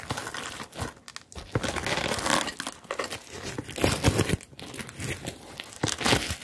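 Long acrylic nails scratch and brush across the plastic sequins of a hollow, medium-sized rainbow sequin-covered zippered bag held upright. The sequins give a dense, bright crinkling and rustling texture that comes in irregular swells and brief pauses, with occasional louder scraping bursts.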